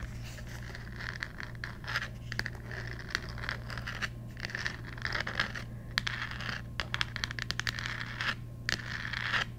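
Long nails scratch and tap the glittery, textured pumpkin on the cover of a thick cardboard children's Halloween board book with a handle cutout. Dry, bright scratching rasps mix with many quick, sharp taps that fade almost instantly, centered around 1.8 kHz. A steady low hum runs underneath.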